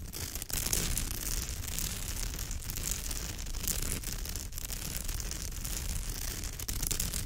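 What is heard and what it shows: Long nails rake and scratch over the fibre weave of a woven straw or raffia purse, up close. A steady, continuous scratching texture with a rough low rumble and bright, crackly hiss runs throughout, with small dips and swells as the strokes change.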